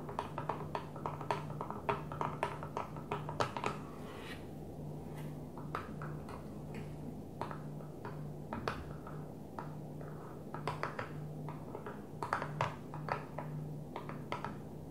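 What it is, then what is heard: Plastic container lid tapped with nails. A flat blue plastic container lid resting on a table is tapped with long nails, giving quick bursts of short, sharp clicks that die away almost at once. The taps come in clusters separated by brief pauses, over a steady low hum.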